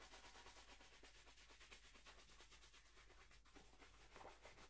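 A hollow, empty black polished leather dress shoe, held in one hand, is brushed briskly across its leather upper with a wooden-backed horsehair shoe brush. The result is a quiet, steady run of rapid, brushy swishing strokes with a soft, bright hiss over a constant low hum.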